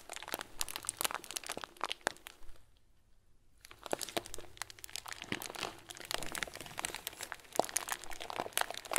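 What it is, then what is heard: Plastic bag of small plastic beads. A clear, hand-sized plastic bag full of small white plastic pearls is crinkled and pressed with fingertips. Dense, bright crinkling and crackling pops come in quick bursts, with a brief quiet pause near three seconds before the crinkling resumes steadily to the end.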